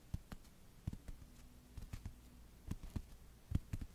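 Long yellow nails and fingertips slowly tap and scratch the glossy cardboard cover of a pink paperback book, first held and then laid flat in front of the mic. About eleven soft, dull, low thuds are heard, each dying away almost at once, spaced unevenly with quiet pauses between them.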